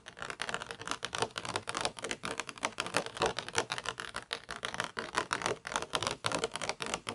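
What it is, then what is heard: Plastic toy pizza tray. Long nails tap and scratch across the mesh-textured base of a round black plastic toy pizza tray held upright. A steady stream of dry, crisp clicks and scratchy rasps comes through, bright with almost no low end. Each touch dies away almost instantly.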